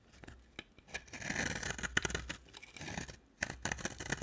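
A solid, dry orange bar of soap, held by long nails, is carved and chipped with a box cutter blade. Dry scraping and crisp cutting strokes with sharp, bright clicks are heard, with a gritty rasp as the blade shaves the soap.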